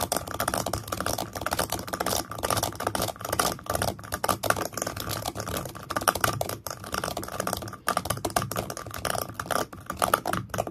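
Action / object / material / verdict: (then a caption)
tap / small wooden stand / wood / none. Fingertips and nails tap and scratch the base of a small, pale, solid wooden stand. A dense, fast run of short, dry clicks and scrapes runs throughout, centered in the midrange around 1.3 kHz with little ring after each touch.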